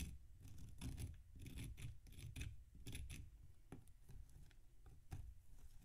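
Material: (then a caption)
Damp sand. A metal knife scrapes and slices crunchy chunks off a large, solid mound of packed damp sand on a metal tray, the mound held with the fingertips of the other hand. Repeated gritty, rasping scrapes carry a heavy low rumble and short bright crackling bursts as the chunks break away. The sound is quiet and continuous, with no clear pauses between strokes.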